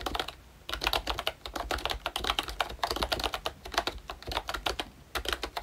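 Fingertips type on a full-size ROYCHE Disney Mickey Mouse retro membrane keyboard, with a hollow plastic case and round plastic keycaps. After a brief pause at the start, a steady run of quick, bright plastic clacks follows. Each keystroke is short and dry and dies away almost at once.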